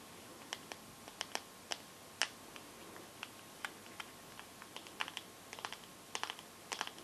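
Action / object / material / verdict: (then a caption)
tap / smartphone with glass back and metal frame / glass / none. Long gold-painted fingernails tap rapidly on the glass back and along the metal side frame of a small, solid teal Samsung smartphone. About twenty sharp, bright clicks come at uneven intervals, each dying away almost instantly over a quiet background.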